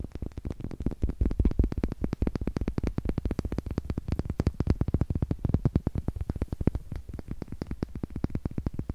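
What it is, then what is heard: Wooden eggs. Two small, solid, light wooden eggs, one held in each hand, are tapped with long nails and knocked against each other. The result is a rapid, continuous stream of short, dry, hollow-sounding clicks and knocks, weighted toward low tones with almost no ring after each tap.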